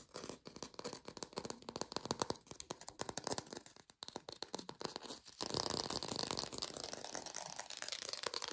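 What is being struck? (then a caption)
Plastic artificial orange with a textured skin. A textured artificial plastic orange is fast-tapped, producing rapid, dry, rattly clicks with a bright, papery top end. Around five and a half seconds in, the tapping turns louder and denser, blurring into a continuous scratchy texture.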